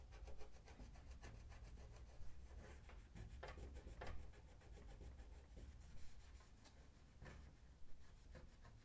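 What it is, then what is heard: Stainless steel oven drawer front being wiped. Fingertips hold a paper towel and rub it across the brushed stainless steel lower drawer panel of an oven, a large, flat, hollow drawer front. The result is a steady, soft papery rubbing with a low, dull rumble, broken by brief brighter swipes as the towel moves back and forth.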